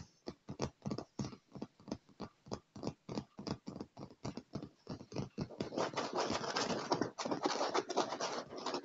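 Fingertips and nails tap quickly on a dark padded leather armrest, making a string of soft, distinct, dull taps for about five seconds. The sound then turns into continuous, dense scratching across the leather, brighter and busier, until the end.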